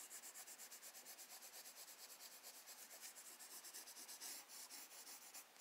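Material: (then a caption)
Paper. A graphite pencil held in the fingers strokes, rubs and shades across a recycled-paper page of a spiral-bound sketchbook lying flat on a wooden desk while drawing a bird. Quiet, bright, scratchy hiss comes in a quick, steady run of back-and-forth strokes, with almost no low end.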